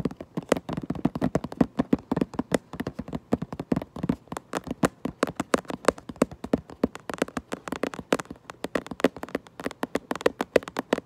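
Long nails rapidly tap and scratch the back of a cardboard Minecraft Lego box, producing a dense stream of dry, short clicks with almost no ring. The taps are midrange and hollow, with light scratching between them.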